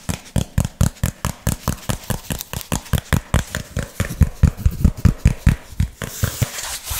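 A flat, hand-sized piece of brown textured cardboard is held in both hands while fingernails tap and scratch its surface. About 29 quick, dull, low-heavy taps arrive at a fast, uneven pace, each dying away almost instantly. The clip ends in a steady, bright scratching hiss.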